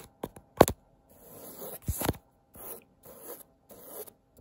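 Long-nailed fingertips scratch and tap across a thin pink and tan printed woven fabric wall tapestry. Sharp little taps come through first, then soft, bright rasping scratches rise and fade in short repeated strokes, with a couple more taps mixed in.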